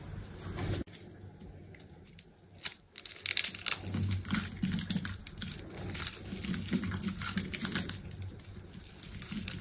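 A rectangular solid bar of dry green soap with a dark outer coating, held in a hand with long pink nails, is scored into a grid and shaved with a small utility knife blade. Dense, irregular crisp scraping and crackling fill the clip, dipping quieter around the first few seconds before the cutting grows louder and busier. Each scrape is dry and bright, with almost no ring after it.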